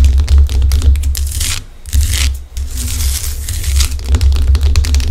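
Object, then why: Rock salt lamp. Long acrylic nails scratch the rough surface of a large, solid pink Himalayan rock salt lamp held close to the microphone. Dense, irregular gritty scraping and crackling comes in fast bursts, with a brief quieter lull partway through. A steady low hum runs underneath.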